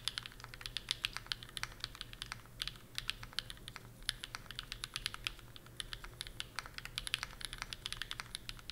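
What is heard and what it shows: A 65% Bear65 v2 mechanical keyboard with PureBerry on an aluminum plate and plastic keycaps is typed on quickly with the fingertips of both hands. Rapid, bright, short clacks follow one another in a steady, uneven patter over a faint low hum.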